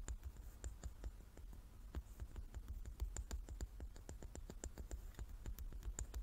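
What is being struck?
Large wooden die.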